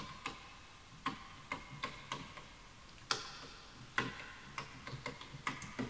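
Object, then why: Bamboo wooden computer keyboard. Fingertips type on the wooden keys of a full-size bamboo wood computer keyboard, with the mouse left untouched. About thirteen short, dry clicks are heard at an irregular pace, each with a bright tap around the mid-high range and a brief low knock. The clicks fade almost instantly over a quiet background.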